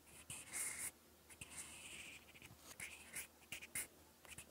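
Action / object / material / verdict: scrape / mechanical pencil on paper notebook page / paper / none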